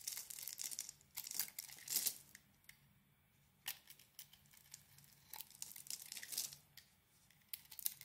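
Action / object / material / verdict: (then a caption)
scrape / solid soap bar carved with a blade / soap / none. A utility knife blade carves flakes off a solid oval bar of soap, purple-striped outside with a blue swirled core, held in the hand. Quiet, crisp, bright scraping and crackling comes in short bursts, like thin tearing, separated by near-silent pauses.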